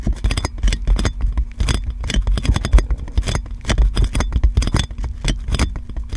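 Long nails scratch and tap clear plastic cling film wrapped around a metal microphone. Rapid crinkly taps and scrapes come in dense bursts, with a heavy low thump under each touch and faint bright crackle on top.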